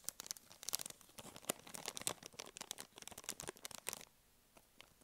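A full blue and white soft plastic wet wipes packet is turned in the hands, squeezed and scratched with long nails. Dense, bright crinkling and crackling bursts run for about four seconds, then thin to a few faint crinkles as the handling stops.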